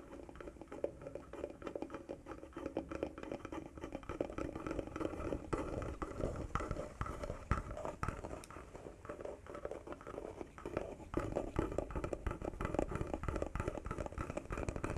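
A small hollow wooden box with carved relief and a metal emblem on its lid, its contents unseen, is held close to the microphone and tapped and scratched with fingertips and short nails. A quiet, continuous stream of soft, dull taps and rough scratching is heard, mostly low in tone, with each tap dying away almost at once and a few sharper knocks standing out.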